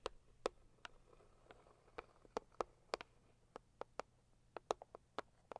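Long acrylic nails of both hands tap on the lid of a hollow, medium pink floral Saviland cardboard gift box. The result is a quiet, irregular run of short, dry taps with a hollow midrange body, bright clicky tops and almost no ring.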